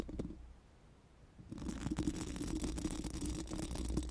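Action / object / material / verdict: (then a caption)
scrape / steel mesh microphone grille / steel mesh / none. Four pink silicone spoolie brushes are rubbed over a bare, hollow steel mesh microphone grille. A few brief scratchy strokes open the clip, then it goes nearly quiet for about a second before dense, continuous bristly scraping builds. The scraping carries a hollow midrange tone and a low rumble.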